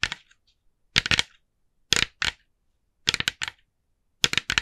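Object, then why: Small plastic pumpkin decoration. Long nails tap rapidly on the face of a hand-sized, hollow, glossy orange plastic jack-o'-lantern decoration. The taps come in five quick clusters separated by short silences, each a bright, dry click with almost no ring and little low end.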